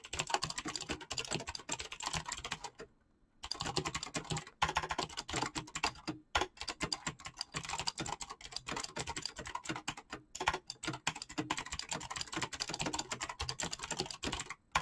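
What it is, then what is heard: Mechanical keyboard with PBT plastic keycaps. Fast fingertip typing on a black mechanical keyboard with clicky switches and PBT plastic keycaps produces a dense, continuous stream of sharp, bright clicks and clacks. The typing breaks for a brief pause near the three-second mark, then resumes at the same rapid pace until the end.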